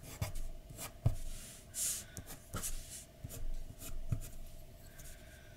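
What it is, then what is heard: Pencil drawing on paper. A pencil tip rubs and scratches in strokes across a flat white paper sheet lying on a dark desk. Soft, dull taps and bursts of bright, scratchy hiss come and go over a faint steady hum, and each stroke stops quickly with almost no ring.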